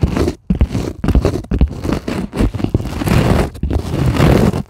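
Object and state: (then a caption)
Polyethylene foam sheet being scratched. Long acrylic nails scratch across the surface of a white polyethylene packing foam sheet lying on a table. The result is dense, rapid scratchy crunching and scraping in bursts separated by brief pauses, with most of the weight in the low end and very little brightness.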